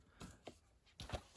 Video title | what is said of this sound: My Blu Ray, DVD and VHS Pickups October 26th 2020. Part 2. | I was shaking it and I can't hear the disc. Normally you can, as soon as you shake it, you hear the disc.